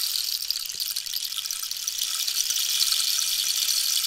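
A hollow cactus wood rainstick with a red-yellow-green band is tilted while long nails tap near its top and pellets rattle inside. The result is a steady, bright, rain-like hiss and patter with almost nothing in the low end, growing slightly louder over the second half.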